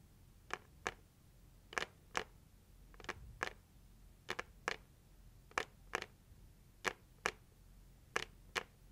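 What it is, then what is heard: Cardboard gift box tapped with nails. Long nails gently tap the lid of a closed, hollow, red printed cardboard heart-shaped gift box. Fifteen quiet, short, dry taps come mostly in loose pairs. Each tap has a papery midrange knock with a bright edge that dies away almost at once over faint background hiss.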